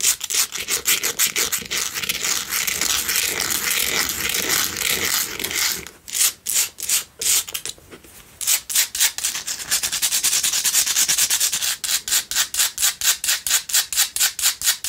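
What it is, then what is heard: Himalayan salt candle holder scratched with nails. A hand-held Himalayan pink salt single tealight candle holder is scratched across its rough surface with long nails. Rapid, bright, gritty scratching strokes run almost continuously, thin out into a few slower, separated scrapes midway, then return to a quick, even rhythm.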